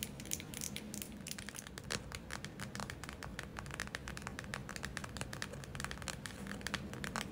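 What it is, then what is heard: Plastic gel eye mask. Long acrylic nails rapidly tap and scratch the surface of a glitter-filled plastic gel eye mask held in the hands. Dense, bright, crinkly clicks and scrapes sit over a steady low background hum.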